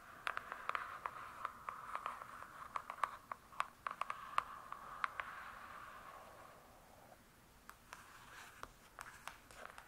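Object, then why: Hardcover book with cardboard cover. Long nails tap and scratch near the top edge of a large, closed hardcover book with a glossy cardboard cover. Many quick, dry clicks sit over a steady, mid-pitched scratching hiss. The scratching fades after about seven seconds, leaving scattered bright taps.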